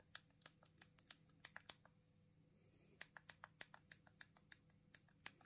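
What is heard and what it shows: Thumbs repeatedly press the rubbery plastic keypad buttons of a small black plastic Punkt minimalist mobile phone held in both hands, typing and tapping. About 23 short, dry, bright clicks come in quick irregular runs, with a pause of roughly a second in the middle. Each click dies away almost instantly over a faint steady low hum.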